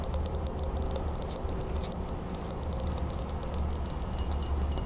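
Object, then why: Glass mason jar. An empty, hollow, clear embossed glass Ball mason jar is held tilted and tapped quickly with long acrylic nails on its sides and base. A steady stream of rapid, bright, clicky taps runs over a constant low hum, with each tap dying away almost at once.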